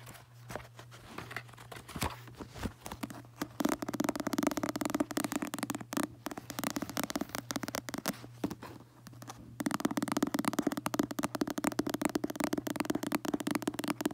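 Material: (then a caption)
Paper. Fingertips flip the pages of a paperback book, then handle its back and red front cover, holding the book and rubbing the cover. Faint scattered rustles build into dense, rapid papery crackling and scraping. The sound dips briefly, then returns fuller, over a steady low hum.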